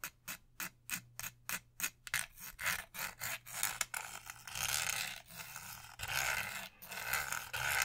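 Long nails rub and scratch across the body of an orange Beats Pill portable speaker, hollow plastic with a soft-touch coating, held in both hands. A quick run of short, separate scratching strokes gives way to denser, continuous rubbing. The sound is dry, bright and hissy, with almost no low end.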